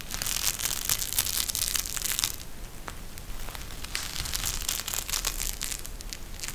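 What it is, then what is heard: Gel bead eye mask being squeezed. A pink gel bead eye mask, made of a clear plastic shell filled with gel beads and edged with fabric trim, is bent and squeezed in both hands. It gives a steady run of bright, crisp crinkling and crushing crackles with sharp, quickly decaying clicks. Lulls come briefly between the denser bursts.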